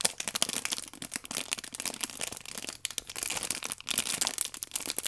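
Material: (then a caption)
Plastic film. A small rectangular multipack of orange paper baking powder sachets, wrapped in clear plastic film with a red tear strip, is held in both hands while long painted nails and fingertips rub and squeeze the film. The result is a dense, continuous run of bright, crisp crinkling and crackling with almost no low end, rising and falling in loudness as the film is worked.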